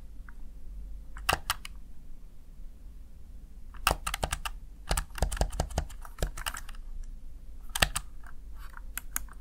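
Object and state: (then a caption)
Plastic keypad. A Razer Tartarus Chroma one-hand gaming keypad with plastic backlit keys, hand-sized and hollow-bodied, is pressed rapidly with fingertips and short nails. Sharp, dry plastic clicks come in irregular bursts over a steady low hum, each tap dying away almost instantly.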